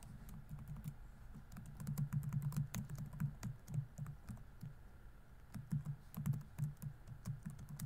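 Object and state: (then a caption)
Plastic laptop keyboard. Fingertips rapidly tap the plastic keys of a laptop keyboard on a grey laptop body while typing. The soft, dull clicks come in quick bursts with short pauses, the taps running together rather than standing apart.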